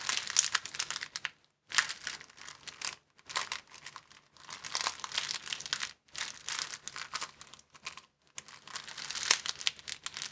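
A clear plastic bag rolled into a tube is squeezed and twisted in both hands, producing dense, bright crinkling and crackling. The sound comes in bursts of a second or two separated by brief silences, with almost no low end.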